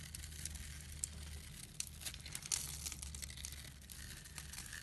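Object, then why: Soap bar. A blade scrapes and shaves the surface of a solid, hand-sized bar of orange and yellow striped soap held in the palm, knocking off crumbly flakes. The scraping is a dry, bright, crinkly rasp with a few sharper scratches over a steady low hum.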